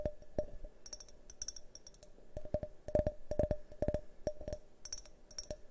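A hand-sized, hollow, multicolored tinted glass drinking tumbler is held on its side and tapped with fingernails in quick, uneven bursts. Each tap gives a short glassy tick with a brief ring near 600 Hz and faint bright clicks above, dying away almost at once between taps.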